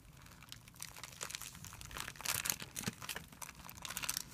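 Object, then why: Thin clear plastic film bag. A hand crumples a thin, clear plastic film bag resting on a white surface while fingers rub it. The result is a steady stream of quiet, bright, crisp crinkling and crackling with very little low end, swelling slightly louder around the middle.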